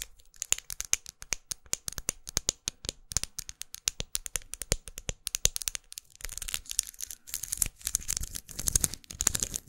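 Long acrylic nails tap and scratch a closed small red plastic lipstick tube with a faceted, studded surface and a dark band, held in one hand. Quick, bright clicking taps come in dense bursts for the first six seconds. They give way to rougher, continuous scratching mixed with taps, all high and crisp with very short decay.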